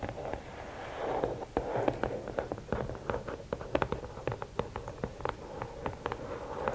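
Long nails tap the top of a closed, hollow red and black rigid cardboard gift box, then scratch and tap along its sides. A rapid run of sharp, dry clicks with a hollow mid-range body stands out over a soft scratchy rustle, each tap dying away almost instantly.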